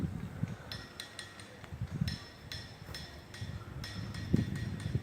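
Boulders in a boulder field, their surfaces covered in hammer marks, are struck repeatedly and ring with short, bright, metallic clinking tones. Some rocks give different pitches from others, heard over a steady low rumble.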